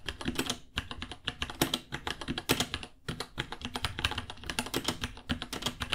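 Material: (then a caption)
Plastic. Both hands type with their fingertips on a small white 66-key mechanical keyboard with Gateron Brown switches, white plastic keycaps, a hollow case and pink underglow, resting on a white desk. Rapid, uneven key taps blend into a steady stream of short, bright clacks over a hollow low thump. Each tap dies away almost at once.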